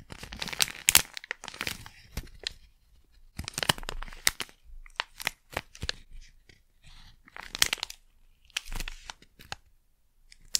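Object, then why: Small sealed plastic pouch. A small, sealed plastic Blu Tack pouch is crumpled, crinkled and scratched with long nails. Bright, crackly crinkles and sharp tearing-like scratches come in bursts separated by short quiet gaps, with almost no low end.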